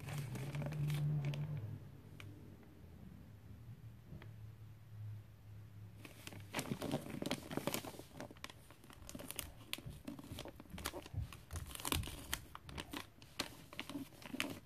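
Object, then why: Glossy wrapping paper on a small gift box. Fingertips with long painted nails rub and press the glossy red Christmas paper wrapped around a small gift box. A few soft taps sound over a low hum during the first six seconds, then dense, bright crinkling and crunching rustles continue steadily to the end.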